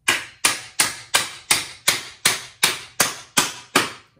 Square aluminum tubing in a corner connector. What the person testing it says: when you hear the thump you can tell that you're you've got it secured